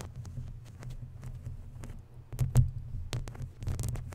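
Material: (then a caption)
Metal mesh. Long natural nails scratch and rub a hollow, round woven metal mesh microphone grille and its sides. The result is a dense, muffled low rumble and throbbing, with faint brief scratchy streaks riding on top. It swells to its loudest rough bursts just past the middle.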